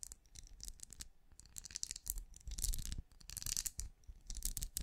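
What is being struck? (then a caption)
Ridged plastic lamp shell. Fingernails of both hands scratch and tap across the ridged translucent plastic shell of a small, hollow, glowing night lamp. Quick, irregular bursts of bright, crisp clicks and raspy scratching ride over soft low thumps from the hollow body. Each tap dies away almost at once.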